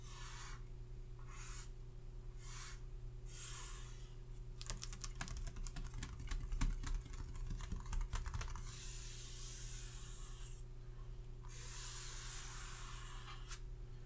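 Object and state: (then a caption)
Paper chart on hardboard clipboard. Fingertips and short nails of both hands tap rapidly across a paper face chart resting flat on a solid-backed hardboard clipboard. Soft, bright brushing swishes come in short bursts, then give way to a quick flurry of crisp, dry taps on the paper and back to airy strokes. A steady low hum runs underneath throughout.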